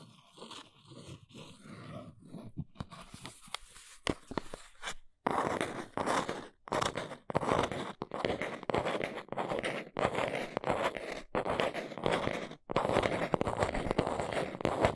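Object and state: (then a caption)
Small cardboard box. A fingernail traces along the side of a small brown cardboard box with soft, dry scratching for the first few seconds. The box is then held up and scratch-tapped with long nails, producing louder, crunchy bursts of rapid tapping and scraping separated by brief pauses.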